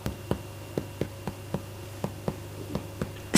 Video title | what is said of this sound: РЖАНОЙ ХЛЕБ. Самый лучший рецепт.#готовимсфранкоимартой#ржанойхлеб | if you hear hollow sound when you tap the bread - it is perfectly baked!